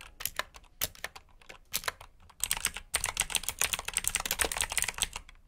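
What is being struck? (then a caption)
Plastic mechanical keyboard. Fingertips type on a black plastic backlit mechanical keyboard with blue switches, producing bright, clicky keystrokes. The typing is sparse at first, then turns into a fast, steady run of sharp, high clacks with little low end.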